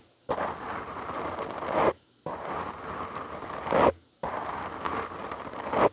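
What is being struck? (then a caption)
Foam microphone windscreen. Fingertips and short nails of both hands scratch a black foam windscreen on a large microphone. Three separate bursts of dense, crackly rustling scrape are heard, each about one and a half seconds long, swelling to a louder, brighter finish before cutting to near silence.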